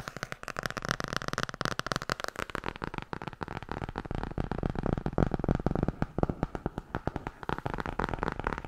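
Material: Board and paper.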